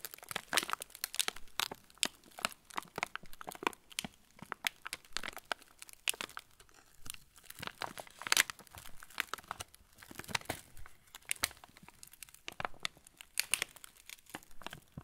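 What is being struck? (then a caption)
Plastic film cracker packet. Fingers press and rub a full, yellow plastic-film TUC cracker packet held up close, making dense, bright crinkles and sharp crackles. The crackles come in bursts across the whole clip, each very short with almost no ring. The sound sits mostly in the high range with little low end.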